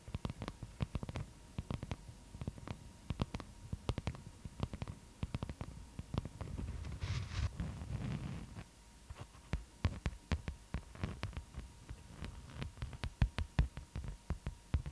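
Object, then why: Beeswax-coated cotton wrap. A thin, stiff, floral-printed beeswax-coated cotton food wrap sheet, held behind the microphone, is tapped and scratched with long nails. Rapid, dull, low-heavy taps and crinkly clicks continue throughout, with a longer stretch of smoother rasping scratches in the middle, over a faint steady hum.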